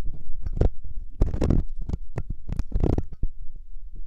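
A metal loop ear pick, held by fingertips, scratches inside the ear canal of a solid, soft silicone ear on a 3Dio binaural microphone. The result is a series of deep, muffled rumbling scrapes and thumps, almost entirely low in pitch, with short bursts that fade quickly.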